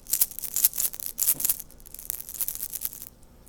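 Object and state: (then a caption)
Fishing fly with loose glass beads rattling inside. A rabbit zonker fly with a mylar tubing body holding three loose glass beads, meant to rattle underwater, is shaken by hand. Light, bright clicking rattles come in quick irregular bursts, louder in the first half and fading to a softer patter. The beads move freely and rattle as intended.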